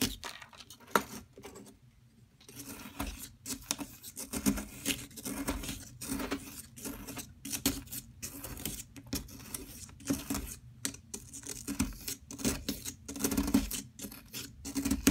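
A hand with long nails holds a solid yellow plaster excavation block while a metal tool scrapes and picks at it. Dense, gritty scraping comes in short rough bursts with quick picking clicks, easing briefly into near-silence around two seconds before the steady scratching resumes.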